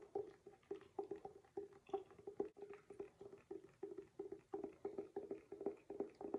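Fingertips or nails tap and scratch the glossy paper-covered board front cover of a medium hardcover picture book, "Don't Mess with Moses," held upright in both hands. The result is a quiet, uneven stream of quick, soft taps, about three per second, each with a dull hollow tone and almost no ring, mixed with faint scratching between them.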